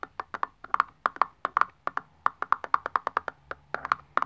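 A long press-on nail taps rapidly along the printed label of a hollow aluminium Nivea aerosol deodorant can lying on its side on a wooden table. About 27 sharp, dry, wood-block-like clicks sound in an uneven rhythm, each with a bright tone near 1.1 kHz that dies away almost instantly.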